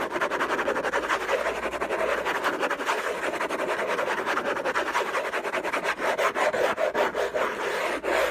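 Fingertips and nails scratch and rub the lid of a large, flat, hollow, closed orange cardboard gift box with a textured paper surface. The result is a dense, fast, irregular rasping with a papery midrange hiss that runs without break for the whole clip, with some sharper strokes near the end.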